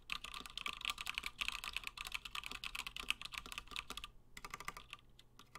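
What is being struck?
Mechanical keyboard with PBT plastic keycaps.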